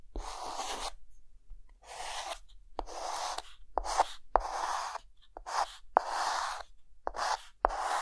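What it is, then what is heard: Chalk writing on a chalkboard. A hand finishes a third row of figures on a flat dark green chalkboard with a white stick of chalk. Short, irregular bursts of dry, bright scratching strokes are heard, many starting with a sharp tap, with a scraping tone centered around 750 Hz and quiet gaps between them.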